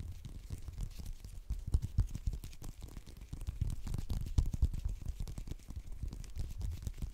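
Fingernails rapidly scratch and tap the peel of a whole, solid orange held in the fingertips. The result is a dense, irregular stream of short, dull taps and scratchy rustles, heavy in low thumping tones with quick, dry decays.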